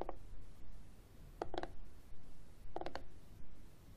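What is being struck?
Plastic external CD drive casing.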